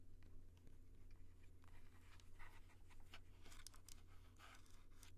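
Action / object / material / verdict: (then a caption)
tap / plastic handheld audio recorder / plastic / none. Fingertips of both hands tap and rub directly on the top and sides of an upright Tascam handheld audio recorder with a hard plastic body and metal mic capsules. Soft, quiet taps and scratchy rubbing come through as brief bright bursts over a steady low hum near 100 Hz.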